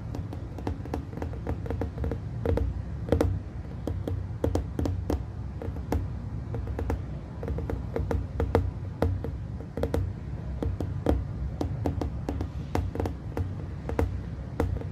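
Two hands rest on a roughly 15 cm hollow glass plasma globe, lit from inside, as fingertips and nails tap the glass rapidly. The taps are short, dry clicks with a bright edge that die away almost at once, over a steady low hum.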